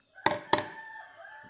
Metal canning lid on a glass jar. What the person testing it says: whenever your bottle sounds Hollow it means it has not sealed and it's not shelf stable